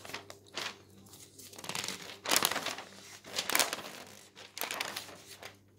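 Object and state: Newspaper being handled.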